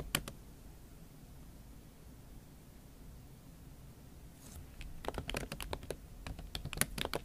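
A MacBook Pro keyboard covered with a pink silicone skin is typed on with fingertips and long acrylic nails. Two sharp clicks open the clip, followed by a long near-silent pause. A quick run of muffled, bright tapping clicks then continues to the end.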